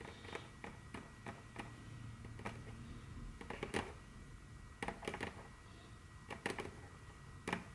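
Very long, curved natural fingernails on both hands tap and click on a large, solid, dark brown glossy wooden tabletop. A quiet series of sharp, bright clicks arrives at irregular intervals, sometimes in quick clusters, each dying away almost instantly. A low, steady background hum continues underneath.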